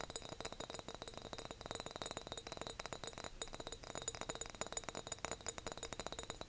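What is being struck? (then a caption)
Large glass jar. A big decorative glass jar is tapped and clinked in a rapid, steady stream of light taps. Each tap gives a short, bright glassy click that dies away almost at once, with high ringing tones over the clatter.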